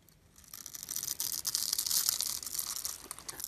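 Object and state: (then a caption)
Bar soap being carved. A hand-sized solid white bar of soap, held in the fingers, has small cubes carved and scraped off its scored surface with a metal blade. Bright, dry scraping and crisp crumbling rise after a quiet start and continue in quick, uneven strokes.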